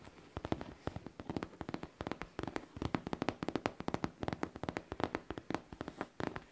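Long painted nails tap rapidly and repeatedly on a hollow pink faux leather backpack held close up. Each tap is a short, dry click with almost no ring, falling in quick irregular bursts.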